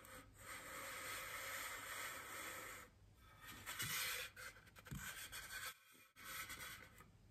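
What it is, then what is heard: Styrofoam wreath ring. Fingertips and long nails rub and scratch a large, solid white polystyrene foam wreath ring, making a steady, bright, hissing scrape for about three seconds. Quieter, broken scratches and louder bursts follow, with brief pauses, as one hand then grips the ring's edge.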